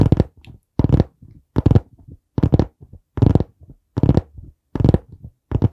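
Fingertips tap on the board cover of a dark brown hardcover notebook held at an angle beside the mic. Clusters of dull, low thumps recur at a steady pace, each burst followed by softer taps. The sound is deep and muffled and stops almost instantly.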